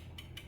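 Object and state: Loose worn supercharger drive bushings.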